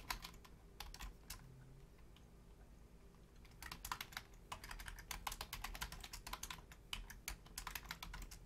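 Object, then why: Plastic computer keyboard. Long painted nails and fingertips type on a full-size black plastic Logitech keyboard with low-profile keys. Quick, bright clicky taps come in bursts, with a quieter pause in the first half. A steady low hum runs underneath.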